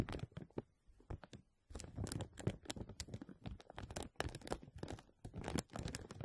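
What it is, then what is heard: Thin plastic film being scratched. Fingertips and nails scratch and rub a thin, clear plastic film stretched over the wire mesh dome of a microphone. The result is close, dense crinkling and scratching with sharp, bright clicks over a low, rumbling body. The rubbing comes in bursts, with a quiet pause near the start before it continues steadily.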